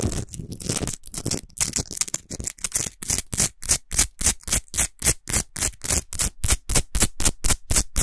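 Long nails scratch quickly across the top and sides of a tall, solid rock Himalayan salt lamp while hands grip its lower part. Bright, dry scraping strokes come in a rapid, steady rhythm, growing more distinct and evenly spaced as they go. Each stroke carries a faint low rumble beneath it.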